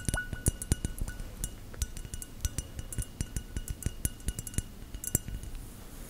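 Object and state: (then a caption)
Textured glass object. A textured, bubbly glass is tapped with gel nails in a quick, irregular series of light taps. Each tap is a short, dry click with a low knock underneath and a bright edge, and a faint glassy clink rings softly between the hits.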